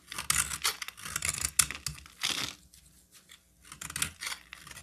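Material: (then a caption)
Soap. A solid, hand-sized green bar of soap is shaved and scraped with a metal utility knife blade, the flakes piling up on a table. Bright, dry scraping and crisp tearing strokes come in quick bursts, with a short quiet pause in the middle before the shaving resumes.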